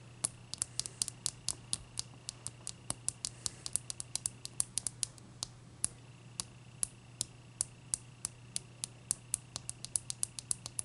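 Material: Ice.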